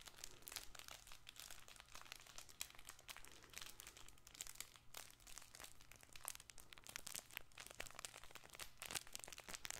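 Fingertips and nails rub, scratch and squeeze the fabric panels of a colorful stuffed fabric ball with a ribbon loop, held in both hands. The result is a dense, continuous run of bright crinkling and crunchy scratching with many sharp little transients. A steady low hum sits underneath.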